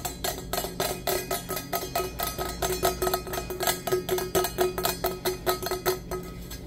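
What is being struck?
Insulated stainless steel travel mug.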